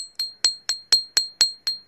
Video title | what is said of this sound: TARA SURIIN NATIN ITO!!! | Matulis ang tining niya, di ba? Yung masyadong parang bakal